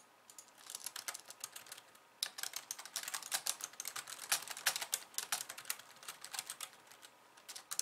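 Long painted nails type on a pink low-profile plastic keyboard with white keys resting on a wooden desk. Quick, bright plastic clicks and taps come in a dense, irregular stream with almost no low end. A brief lull comes near the two-second mark before the typing picks back up more loudly.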